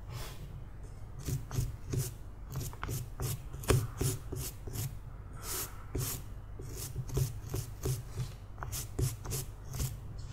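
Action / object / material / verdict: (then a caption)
scrape / small carved wooden figurine / wood / none. A palm-sized, solid carved wooden sleeping-cat figurine, grey and weathered, is held in one hand and scrubbed with the plastic bristles of a green toothbrush. A steady series of short, bright, bristly rasping strokes comes in quick bursts over a low, constant hum.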